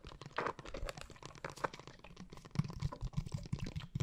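Long painted nails tap rapidly on a blue, liquid-filled plastic glitter water bottle held at an angle. The taps make soft, dull, low knocks with short, muffled clicks, and a faint sloshing of the liquid inside. The knocks grow heavier and deeper toward the end.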